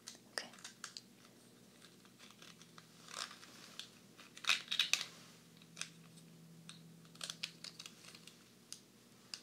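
A small, solid stack of blue clay composite poker chips is held in the hands while fingertips and nails tap the chips and click them against each other. The result is a quiet, irregular run of short, bright, crisp clicks and taps that die away almost instantly, with a louder cluster in the middle.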